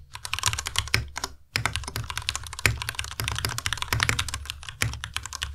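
A Ducky Miya Pro compact white mechanical keyboard with white plastic keycaps and Cherry MX Red switches is typed on continuously with the fingertips of both hands. Dense, bright plastic clacks come in quick runs, each with a low thump underneath and very little ring. A short pause near 1.5 seconds breaks the flow, and then typing resumes.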